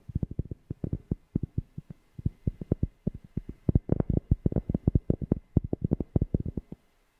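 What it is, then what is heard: Cork being tapped. A cork object is tapped close to a FIFINE K690 microphone in quick, uneven bursts, giving dozens of short, deep, bassy thumps with a low body and almost no ring. The tapping stays steady in character, grows a little louder midway, and stops just before the end, leaving brief silence.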